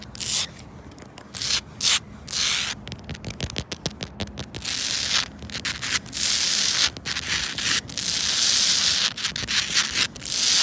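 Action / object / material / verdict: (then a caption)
scrape / granular rubber floor tile / rubber / none. Long pointed red nails scratch and rub the rough texture of flat, solid granular rubber playground safety flooring, first a red tile and then a green tile of the same surface. The result is a bright, hissy, sanding-like scrape in fast irregular bursts, broken by brief quiet gaps, that swells into longer sustained rubs toward the end.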